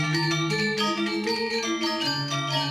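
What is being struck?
Nothing is struck.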